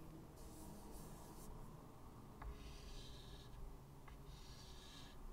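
White chalk held in the fingertips draws curved lines on a medium, solid, flat chalkboard with a wooden frame lying on a table. Three soft, bright scratching and rubbing strokes are heard over a low, steady rumble, and the second and third strokes each begin with a small tap of the chalk on the board.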